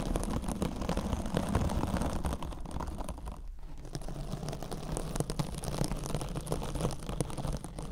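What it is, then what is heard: Kitchen scrub sponge with metal mesh cover. A rectangular, hand-sized kitchen sponge wrapped in a glittery silver metallic scouring mesh, soft and compressible, is held against the microphone while long acrylic nails scratch and tap across the mesh. The result is a dense, steady run of crunchy, low-heavy scratching and tapping with a brief quieter dip midway.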